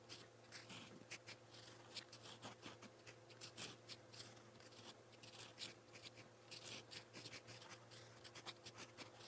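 A gold-toned metal fountain pen nib writes purple text on a lined white page of a spiral notebook, giving a run of quiet, bright scratching strokes. Many short scratches sit over a steady low hum.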